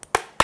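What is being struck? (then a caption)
Plastic keyboard housing. Knuckles knock on the hard plastic body of a Tt eSports Poseidon Z RGB keyboard to show how solid it is. There is a faint tap followed by two short, sharp knocks, each with a clicky, mid-toned crack around 1 kHz that dies away almost at once. The housing sounds hard and rigid.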